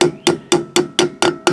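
A metal wheel bearing cap (buddy bearing) on an RV camper's wheel hub is tapped back into place after cleaning, working around it. Seven sharp, solid knocks ring briefly with a pitch around 355 Hz. The solid sound shows the cap is fully seated.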